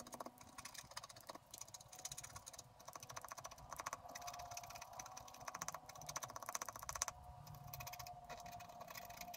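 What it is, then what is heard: Scratch art paper being scratched. A wooden stylus scratches along the trunk and roots of a picture on a thin, flat sheet of black-coated scratch art paper. The result is a steady run of quick, dry, crackling strokes with a bright, hissy edge, rising and falling slightly in loudness as the lines are drawn.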